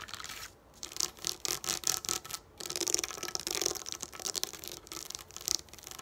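Long nails scratch and rub across a sheet of plastic pop-up dot dome stickers lying flat on a table. The result is a run of bright, dry, crackly scratching strokes in short bursts with brief pauses between them, almost no low end, and no ring after each stroke.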